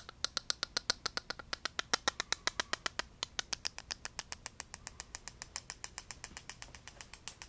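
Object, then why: Small translucent plastic cube. A small hollow translucent pink-red plastic cube with a bright LED light inside is held close in the hand and tapped and scratched with fingertips and nails. About 54 rapid, dry, bright clicks follow one another at an uneven pace over a faint scratchy hiss. Each click stops instantly with no ring.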